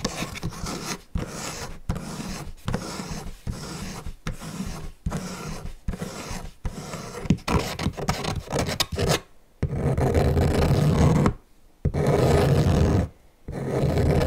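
Fingernails rub and scratch the wooden cube faces and stand of a wooden block calendar turned on its side. Short, dry rasping strokes repeat with brief pauses at first, then give way to longer, louder continuous rubbing passes separated by short silences. The sound is low and dull, with little bright content and no ring.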